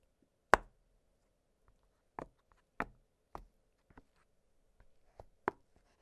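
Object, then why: Silicone pop-it fidget toy. Fingertips press the hollow bubbles of an octagonal blue silicone pop-it fidget toy lying flat on a glittery surface. Each press gives a short, dry pop with a quick fade, spaced irregularly between quieter soft clicks over a near-silent background.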